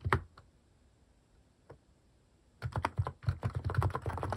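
A compact mechanical keyboard with cat-shaped plastic keycaps is typed on with quick fingertips. A couple of isolated keystrokes and a long quiet pause give way to a fast, uneven burst of typing. The clacks are short and dry with a low, thocky body.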